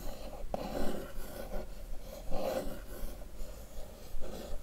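A single long nail scratches and traces lines across the lid of a closed, hollow blue printed cardboard box. The result is a soft, dry, rasping scrape that comes in slow, uneven strokes.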